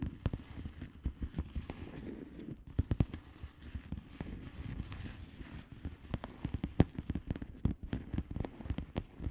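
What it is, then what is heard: Plastic bubble wrap mailer. Long nails tap and scratch across a flat plastic bubble wrap mailer with hollow air bubbles. Quick, dry, muffled taps with a low, thumpy body come in an irregular, steady stream, with soft scratchy rustling in between. Each tap stops at once, with no ring.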